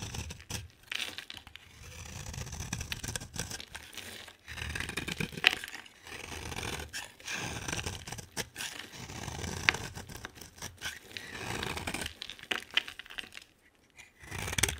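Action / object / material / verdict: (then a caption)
scrape / bar of soap / soap / none. A utility knife blade scrapes a solid, hand-sized, cream-colored bar of soap with a green outer coat into fine shavings. Repeated bright, dry scraping strokes come in bursts of a second or two, separated by short pauses, with light crackles as the shavings come away.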